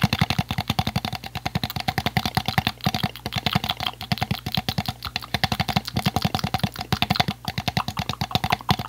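An empty, hollow clear PET plastic water bottle with a blue cap is tapped rapidly with fingertips and squeezed by hands. About sixty quick, evenly spaced taps give short, dry, hollow low thumps with a bright plasticky clatter, each dying away almost instantly, across nearly nine seconds.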